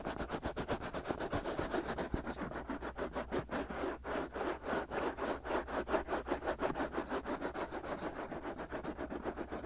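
Fingertips and short nails scratch and rub around the ear canals of the two soft, hollow, white silicone ears on a 3Dio-style binaural microphone. About 26 quick, evenly paced scratching strokes run steadily through the clip, each a dry, papery scrape concentrated in the mids, over a faint low hum.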